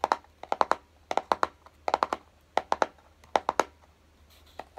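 Fingertips tap and lightly scratch the top of a small, hollow, closed kraft-cardboard box resting on a dark table. Nineteen short, dry, hollow taps come in quick clusters of two to four, each with a midrange knock around 875 Hz. Every tap dies away almost instantly, with faint scratchy rustle between the groups.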